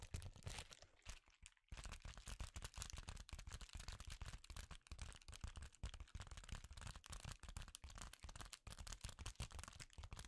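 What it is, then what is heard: Foil bubble insulation sheet. A sheet of reflective foil bubble insulation, held in both hands, is tapped and scratched with the fingertips. The result is a dense, continuous run of soft, crinkly taps and scratches with bright crackle over low thumps, broken by a brief lull near the 1.5-second mark.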